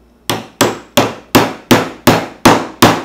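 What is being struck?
Copper pipe cap on hickory wood handle.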